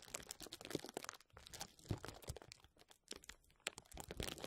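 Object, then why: Plastic bubble wrap. Clear plastic bubble wrap is held over a microphone and rubbed, scratched and squeezed by fingertips. Dense, close crinkling and crunching fills the clip with brief sharp snaps, a lull, then rustling that builds again. It has no ring and mixes low rumble with bright crackle.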